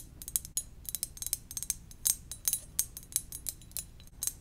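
Gentle tapping on a ceramic donut-shaped mug produces a quick series of light, bright clicks with very short ring. The taps come in uneven clusters over a faint low background hum.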